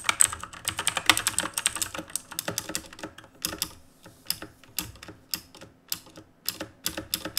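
Fingertips tap the plastic keys of a black RGB plastic and metal mechanical keyboard while typing. Fast, uneven bursts of short, bright clicks come first, then thin out into separate taps and small clusters, each dying away almost at once.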